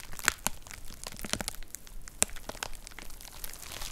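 Long nails tap and scratch across a white plastic poly mailer envelope with a box inside, crinkling the plastic. Sharp, bright clicks and crackles stand out over a steady, soft rustle, with the loudest snaps near the start and just past the middle.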